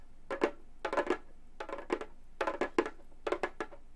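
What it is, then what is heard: Synthetic-head frame drum. Gold metal claw tips on both hands tap rapidly on a hollow frame drum with a synthetic head. The taps come in five quick bursts, each a short, dry, woody knock with a midrange tone and almost no ring, separated by brief quiet gaps.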